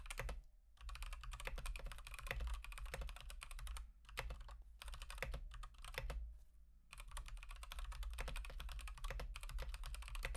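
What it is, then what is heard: Mechanical keyboard typing. A full-size Akko 3108 mechanical keyboard with Gateron Pink switches and teal and white plastic keycaps, resting on a desk mat, is typed on with fingertips in rapid repeated key presses. The solid keyboard with a hollow case gives dense, bright clicky keystrokes over a steady low hum. The typing comes in bursts separated by short pauses.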